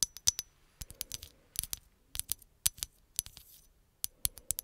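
A hollow green glass bottle is tapped and scratched with long acrylic nails, producing a quick series of sharp, bright clicks with very short ring. Soft scratching fills the gaps between the taps, and the sound sits almost entirely in the high range with little low end.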